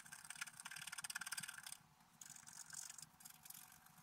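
A wooden stylus scrapes across a flat, black-coated scratch-art paper card in quick, bright, dry scratching strokes. After a brief pause, softer and steadier scraping continues.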